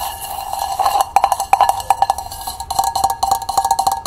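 A small, hollow hammered copper cezve held on its side is tapped on its base and walls with long painted nails. Quick, light metallic ticks come in rapid, uneven bursts, each with a brief bright ring around 790 Hz that dies away almost at once.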